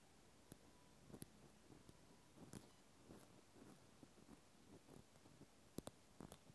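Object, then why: Plastic clothespin. A cotton swab tip scratches inside the hole of a pink plastic clothespin, shown in close-up. Quiet, soft scratching and rubbing runs throughout, broken by six sharp, bright clicks that die away almost instantly.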